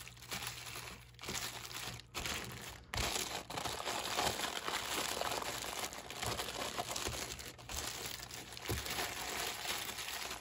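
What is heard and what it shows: Fingers squeeze and crinkle the thin plastic wrap around a sleeve of stacked clear plastic cups. The result is a steady, bright crinkling and crackling that swells and dips for about ten seconds, with a few brief pauses.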